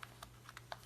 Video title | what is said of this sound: New Etsy Item [Sold - Thank you!] Colorful Handmade Journals | I want to show you first that this cover is made of cloth paper. It's a sturdy little cover.